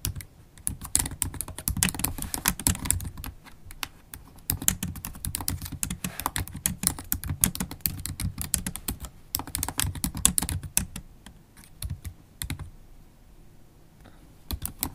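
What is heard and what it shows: Long holographic acrylic nails tap the black plastic keys of a MacBook Pro laptop keyboard while typing. Rapid, bright clicking taps with a soft low thud come in dense bursts, separated by brief pauses. Near the end the typing thins to a few scattered, quieter taps.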